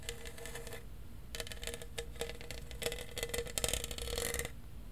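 A tall, hollow lilac plastic tumbler with a lid and straw, held in one hand, is scratched and tapped on its raised studs with fingernails. Bursts of quick, bright clicking and scratching carry a faint hollow ring around 480 Hz. A short quiet pause comes near the one-second mark, then the clicking grows denser and louder before it stops.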